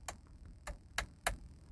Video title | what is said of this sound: 2020 Hyundai Sonata - MIC DROP | as I flick it it's plastic but it has a metallic sound to it which is really nice